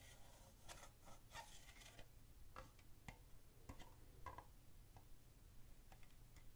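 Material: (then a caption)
Plastic. An empty, hollow red plastic party cup, held near a candle in a dim setting, is tapped with the fingertips. Soft, quiet, dry taps and light clicks come at an uneven pace, each dying out almost at once with a brief bright edge. A steady low hum sits underneath throughout.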